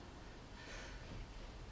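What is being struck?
Nothing is struck.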